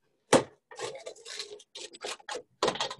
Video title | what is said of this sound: Atelier Culinaire avec Arnaud - Pizza ! | On a un bord qui est bien croustillant